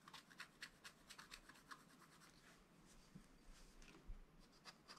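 A wooden stylus repeatedly rubs and scratches at a black-coated scratch-art page in a spiral-bound book, clearing small areas of the coating. Quiet, bright, papery scratching strokes come in quick bursts over a soft, low background rumble.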